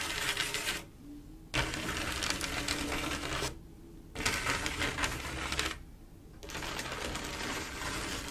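Long acrylic nail tips tap and scratch across a large, solid, flat panel of silver mirror-like glass mosaic tiles with grout. The sound is a dense, bright, crackling rasp of rapid clicks, coming in three long stretches separated by brief quieter pauses.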